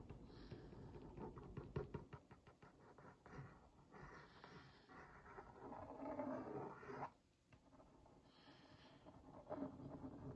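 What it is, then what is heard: Cardboard cookie box. A wooden skewer tip traces and taps across the printed cookies on a hollow Oreo Mini cardboard box held in one hand. Quiet, dry scratching strokes mix with light, hollow taps that sound soft and low-mid, with little brightness. Short, papery bursts rise and fall, with a brief near-silent pause in the middle.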